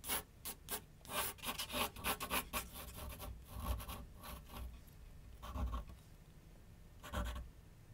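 A graphite pencil held in the fingers scratches and rubs across a large white paper sheet mounted on a flat board on a wooden easel while sketching outlines. A rapid run of short, bright, raspy strokes opens the clip, then it eases into softer, steadier rubbing with a low hum underneath. Two longer scratchy strokes stand out near the end.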